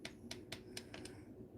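Already-baked polymer clay mushroom stems and caps are tapped to show they have hardened. Six short, bright clicks sound over a low background hum, each dying away almost at once.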